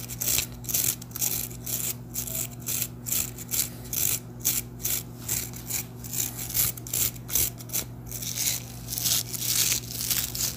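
Fingertips rub and flick along the dense dark bristles of a handheld hairbrush with a light wooden handle, held close. The result is a bright, ratchet-like scratching in quick bursts, roughly two per second and somewhat uneven, over a faint steady low hum.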